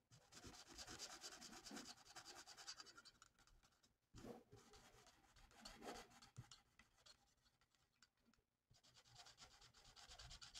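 A felt-tip marker held by hand is rubbed across a thin, flat paper coloring sheet printed with a mandala. It makes a steady stream of soft, bright, scratchy strokes. The strokes continue throughout, with brief pauses around the 4- and 8.5-second marks.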